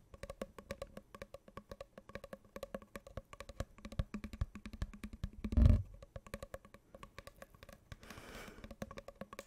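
Long painted nails tap quickly on a hollow, open-ended brown cardboard tube held diagonally. The result is a steady, rapid run of short, resonant, woody, hollow knocks with a low, boomy tone. One heavier thump lands near the middle, and a brief soft rustling wash follows near the end.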